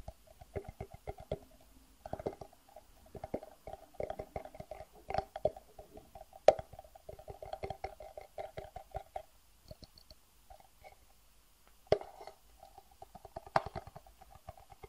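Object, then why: Clear acrylic plastic box. Fingertips tap and rub the sides of a medium, clear acrylic plastic box, a transparent hard box that is hollow and empty and held upright in the hands. Quick, soft taps come in irregular bursts with a hollow, mid-pitched resonance, broken by brief pauses and a few sharper, louder clicks. Each tap dies away almost at once.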